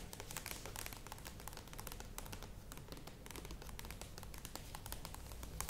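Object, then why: Plastic yogurt tub. Long nails tap quickly on the sides of a standing, medium plastic yogurt tub, with some taps near the lid. The result is a dense, steady run of bright, dry clicks over a low, constant rumble.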